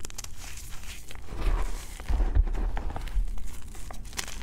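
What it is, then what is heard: Crumbling gym chalk block. Fingertips with short painted nails press, rub and crumble a large flattened pile of crushed white BSN gym chalk (magnesium carbonate), with an intact solid block at its left edge, on a green tray. The dry, powdery chalk gives soft, crunchy crumbling and crinkling sounds with brief bright ticks over a low, muffled rumble, swelling slightly in the middle.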